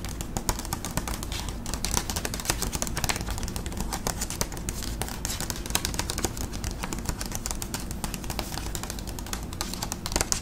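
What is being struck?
Paper envelope.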